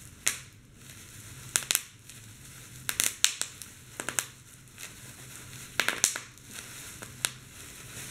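Clear plastic bubble wrap is held over a keyboard while both hands squeeze and press the bubbles. Bright, sharp pops, some in quick pairs, sound unevenly through the clip over a soft crinkling hiss. Each pop dies away almost instantly as the bubbles burst.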